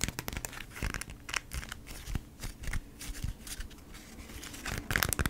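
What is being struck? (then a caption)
Beeswax-coated cotton wrap. A folded beeswax-coated cotton food wrap is scratched with long nails, then turned over and handled. It gives dry, crinkly scratching and rustling in quick uneven bursts, with a low rumble underneath. It ends in a louder flurry of bright crackles.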